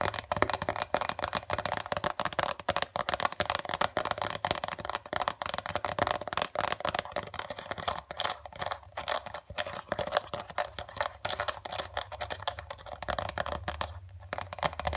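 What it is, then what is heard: Foil face mask sachet. Long dark acrylic nails rapidly tap and lightly scratch a flat, filled, white printed foil-laminate face mask sachet. The result is a dense, steady stream of crisp, short clicks and papery crinkles with a faint low hum beneath.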